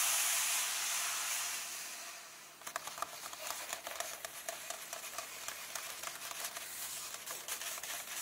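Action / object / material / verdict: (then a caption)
tap / paper book pages / paper / none. A steady, bright rub of fingertips sweeps across the paper pages of an open illustrated book lying on a table, softening over the first couple of seconds. Then fingertips and nails tap on the pages again and again in a brisk, dry, fairly even patter, with light rubbing between the taps.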